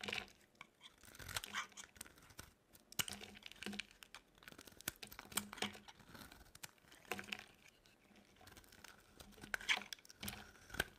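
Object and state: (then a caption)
Dry soap bar being shaved. A solid, dry orange bar of soap held in the palm is shaved into thin curls with a metal utility blade. Repeated crisp, crackly scraping strokes come in bursts, bright and dry with no ring, separated by brief quiet pauses.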